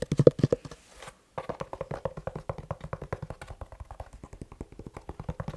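Fast tapping on a leather shoe with no talking: dense, dull taps with almost no ring, loudest in the first half-second. After a brief silence around the one-second mark, the taps continue in a quick, uneven stream to the end.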